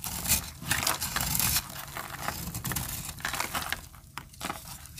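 A metal blade cuts and scrapes crumbly layers off a solid, dry peach soap bar held in the hand. The result is a run of dry, bright, crackly scraping and crumbling textures that swell and fade, with louder bursts early on and quieter scraping toward the end.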